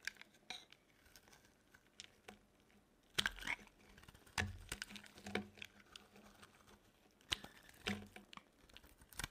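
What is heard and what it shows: A solid, dry orange bar of soap is held in the hand and carved with a metal blade, with thin shavings falling off. The carving makes quiet, bright, crisp scraping and ticking sounds, with louder cuts around 3, 4.5 and 8 seconds and no ring after each stroke.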